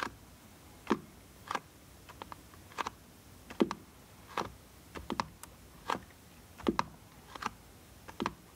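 Fingertips tap and scratch the top of a small, closed blue cardboard box of bar soap lying on a wooden board. Quiet, dry, irregularly spaced taps sound hollow and papery in the midrange, with faint scratchy rustles between them. Each hit dies away almost instantly over a soft background hiss.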